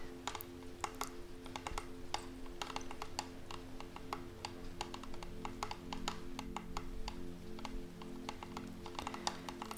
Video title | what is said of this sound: ASMR Reiki for Centering and Grounding in 2021/Soft Spoken Healing Session with a Reiki Master | gentle tapping on wood i find it very relaxing and comforting it sounds to me like rain